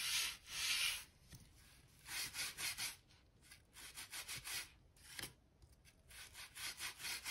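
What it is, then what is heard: Wooden floorboards being scrubbed. A crevice brush is scrubbed back and forth in the gap between worn wooden floor planks, brushing out dirt and dust. It makes bright, hissy scratching rubs in rhythmic bursts of strokes, with almost no low end.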